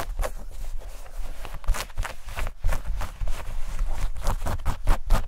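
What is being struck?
Denim shorts.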